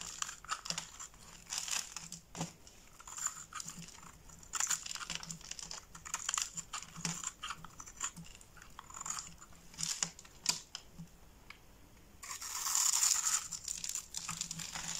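A box-cutter blade scores a grid into a solid red bar of soap held in the hand, then slices off small cubes and flakes. Crisp, bright scrapes and crunchy little clicks come in an irregular stream, with a thin hiss underneath. Near the end, a longer, louder rasping cut swells up before the sound settles back into light scraping.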